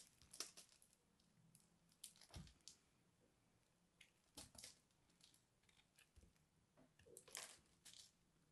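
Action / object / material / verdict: scrape / soap ball scraped with a knife blade / soap / none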